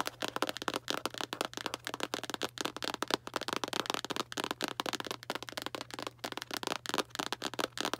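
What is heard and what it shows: A small Arm & Hammer cardboard baking soda box is tapped rapidly with long black nails, then lowered. The result is a dense series of dry, crisp clicks that are bright, have very little low end, and die away almost instantly. A faint steady low hum sits underneath.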